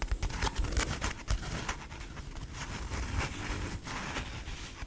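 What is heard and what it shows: Long nails scratch and tap a hand-length, stuffed, soft cream fabric dog-toy bone printed with "TITAN." Quick, muffled low thumps mix with dry, bright scratching across the canvas, then settle into a steadier, quieter rustle.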